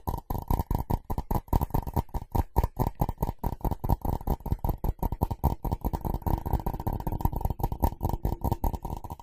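A ceramic object is tapped and scratched quickly in a rapid, uneven stream of short, dull knocks with almost no ring. Their energy sits mostly in the low range below about 1 kHz, with very little bright content.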